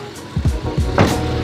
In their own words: Yan, ganda pa ng tunog ng pinto.